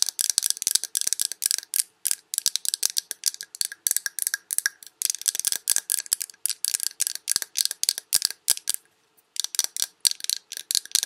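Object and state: Glass candle jar.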